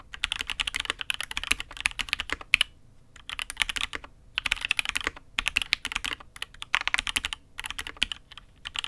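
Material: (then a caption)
ABS plastic. A custom Matrix 8xv 2.0 mechanical keyboard with an aluminium case, red and grey ABS keycaps and INK Black is typed on with the fingertips of both hands. It gives bursts of quick, bright, crisp clacks with almost no low end, broken by short pauses between runs of keystrokes.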